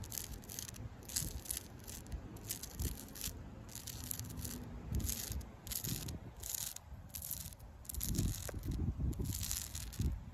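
Long pink acrylic nails scratch downward over flaky bark on a solid tree trunk. Repeated bursts of bright, dry scratching and crackling sit over a steady low rumble, with short pauses between strokes.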